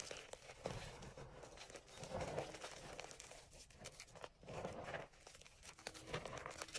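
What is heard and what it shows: Pale green dyed gym chalk cubes and powder are scooped and crushed by hand in an enamel bowl. The soft chunks give a continuous run of quiet, dry crunching and crinkling, with many small crackles and brief louder swells as the handfuls are pressed.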